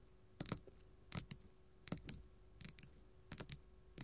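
A flat pink glitter faux leather sheet lying on a table is tapped and scratched with gold metal filigree claws. Quiet, crisp clicking taps fall in loose, irregular pairs, each with a short bright crackle and a soft low thump that stops almost at once.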